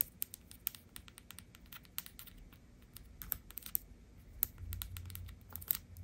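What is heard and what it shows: Long acrylic nails tap quickly across the molded vinyl or plastic face and cheeks of a small, hollow, blue-haired fashion doll head. The result is a quiet, irregular stream of crisp, bright clicks that die away instantly, over a soft low rumble.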